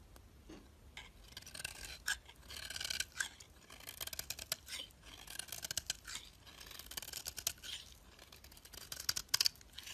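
A utility knife blade scrapes along the top edge of a solid white bar of soap held in the fingers, shaving off thin flakes. The clip is a quiet run of crisp, dry scraping strokes, mostly high and bright with almost no low end, and each stroke stops short with no ring.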